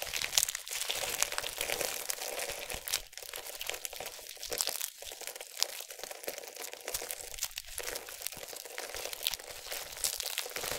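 A palm-sized, solid yellow bar of soap, pre-cut into thin slices, is held in both hands with long nails and squeezed and crushed over a bed of loose soap shavings. The slices snap and crumble in a dense, continuous run of bright, crisp crunching and crinkling with very little low end. The bar breaks apart into crumbling pieces.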